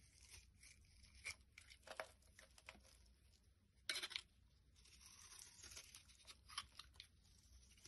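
A utility blade shaves long curls off a solid, rectangular, pale yellow bar of soap held in the hand. The carving makes soft, bright scraping and tearing sounds, with short sharp strokes over a quiet, steady hiss. The loudest scrape comes just before the midpoint.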